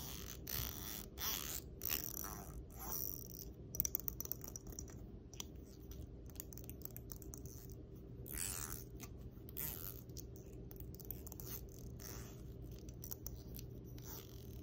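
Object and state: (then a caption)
Plastic comb scratched with nails. Long nails scratch across the fine and wide teeth of a solid black plastic comb held close, making a series of quick, bright, raspy scrapes. The scrapes come in short bursts and stretches over a steady low hum, and each one ends quickly with almost no ring.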